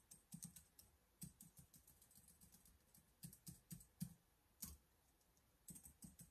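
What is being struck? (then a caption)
Plastic laptop keyboard. Fingertips type and press keys on a black plastic laptop keyboard, giving soft, dull key thuds with a faint bright click on top. The quiet taps come in irregular bursts with short pauses between them, and each one dies away almost at once.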